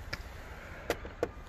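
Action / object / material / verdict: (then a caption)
knock / plastic grille emblem cap on a car / plastic / plastic. A few light knocks on the plastic Mercedes logo cap in the front grille of a 2017 Mercedes SL550R, which covers the Distronic radar cruise-control sensor. Each knock is a short, dull, hollow tap with a midrange tone that dies away almost instantly over a low background rumble. The knocks show the emblem is plastic rather than metal.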